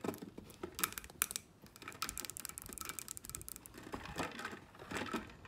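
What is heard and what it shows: A clear double-walled plastic tumbler, about 20 cm tall, with a clear lid, teal straw and teal band, stands on a table filled with an iced drink. Long painted nails tap and scratch its lid and sides. The result is a rapid patter of short, bright plastic clicks with quick scratchy strokes between them.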